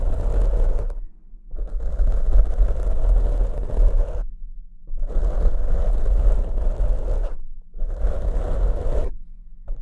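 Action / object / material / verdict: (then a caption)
scrape / foam microphone windscreen / foam / none. Clawed fingertips with short nails scratch the surface of black foam windscreens on two studio microphones. The result is dense, muffled, rumbling scratching in four long bursts separated by brief silent pauses.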